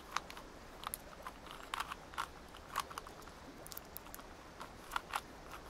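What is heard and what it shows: A small multicolored plastic gear puzzle cube is held in both hands while its layers are rotated and clicked with long nails. Short, dry plastic clicks and crisp ticks come in irregular bursts, centered in the midrange with bright edges. They stop instantly between turns over a quiet, steady hiss.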